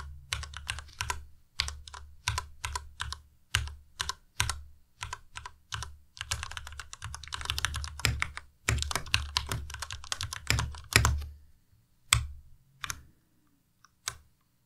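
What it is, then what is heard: Plastic mechanical keyboard. Fingertips type on a white plastic Ducky Miya Pro tenkeyless mechanical keyboard with RGB backlight, at a slow pace broken by single key presses. Each keystroke gives a short clack: a deep low thump near 70 Hz under a bright, crisp click that dies away quickly. Bursts of faster typing in the middle give way to sparse, isolated taps at the end.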